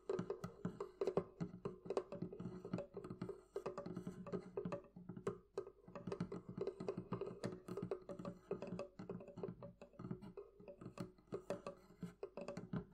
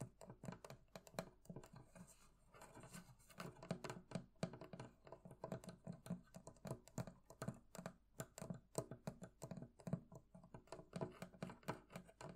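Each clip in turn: First: wooden barrel chest. Second: metal fittings of a barrel chest.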